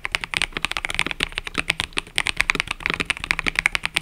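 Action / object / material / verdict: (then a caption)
tap / mechanical keyboard with plastic keycaps / plastic / none. Fingertips type continuously on a cream and purple mechanical keyboard with plastic keycaps, producing a steady run of about 26 quick, sharp clacks over four seconds. Each keystroke is bright and clicky, centered around 2.3 kHz with little low end, and cuts off almost instantly with no ring.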